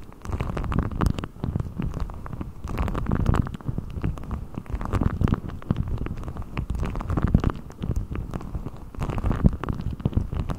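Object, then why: Deflated rubber ball. A blue deflated rubber ball with a thin hollow skin is stretched over the top of a microphone and pulled and rubbed with the fingertips of both hands. It gives a continuous deep, rumbling, muffled rubbing with dense soft scratches and brief rubbery pops, almost all in the low range with no high brightness.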